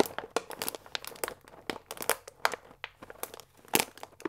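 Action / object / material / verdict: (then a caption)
shake / paper pasta bag with plastic window / paper / none. A full paper fusilli bag with a plastic window is held upright and squeezed and crinkled with the fingertips. It makes dense, irregular crinkling with sharp, bright crackles and short bursts, and almost no low end. The crackles fade quickly between squeezes.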